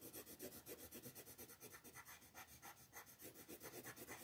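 A wooden colored pencil scratches and rubs over a flat paper coloring book page while shading a lamb, with the page held by a hand with long nails. Quiet, rapid back-and-forth strokes, about four per second, make a soft, raspy scratching with bright, papery texture.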